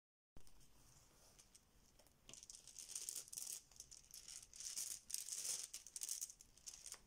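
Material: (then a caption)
Plastic. A banana-shaped yellow fabric Bananagrams zip pouch full of small plastic letter tiles is squeezed and kneaded with fingertips and nails, making the tiles rattle inside. The sound is a bright, crinkly clicking and rustling, soft at first, then swelling into louder, irregular bursts.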